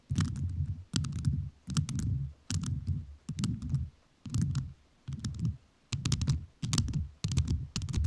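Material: Rhinestone.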